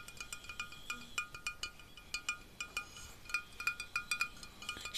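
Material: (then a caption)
Glass. Fingertips and nails tap repeatedly on a small, full glass bottle of beet juice with a metal cap, held upright. A quick series of bright, chime-like clinks rings at a steady pitch near 2.4 kHz with high overtones. Each clink dies away almost at once over a faint background hiss.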